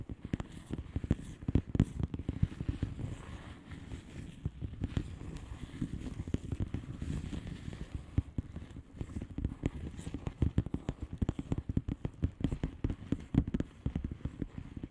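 Long fingernails on both hands tap rapidly across a flat blue plastic bubble wrap padded envelope with air-filled bubbles. The result is a steady stream of soft, dull clicks and crackles, heavy in the low end, that runs continuously for the whole clip.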